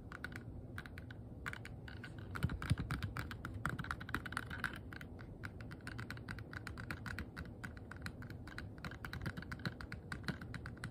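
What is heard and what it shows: Long nails tap and scratch a small, hollow, transparent rigid plastic box that looks empty, held close up. Quick, dry, irregular clicks and taps follow one another with almost no ring, each carrying a hollow low thump under a brighter plastic tick, with light scratching between them.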